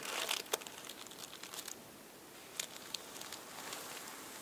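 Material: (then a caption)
Paper. Stacked thin purple tissue paper sheets on a table are folded, lifted and rubbed by fingertips and nails. The result is soft, bright crinkles and rustles with a few sharper snaps, almost no low end, and brief pauses between bursts.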